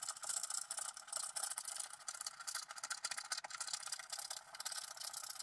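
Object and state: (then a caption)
Scratch art card being scraped. A wooden stylus scratches the coating off a thin coated scratch art paper card while the other hand steadies the card. The result is a quiet, continuous, dry scraping with rapid, uneven strokes, bright and high with almost no low end.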